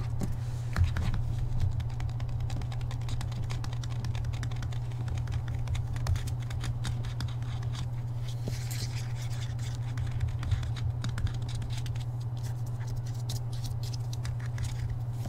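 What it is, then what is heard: Hardcover book with paper dust jacket. Fingertips and nails rapidly tap the front cover of a hardcover book with a paper dust jacket, held upright. The result is a dense run of quick, dry clicks and light scratchy taps over a steady low hum that runs throughout.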